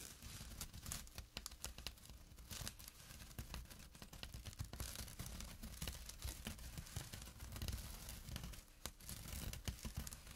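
A small, flat, empty jute burlap drawstring pouch lying on dark cloth is scratched with fingernails and fingertips near its drawstring edge. Dense, rough scratching and crinkly tearing textures run continuously, with many quick bright rasps over a low, soft rumble.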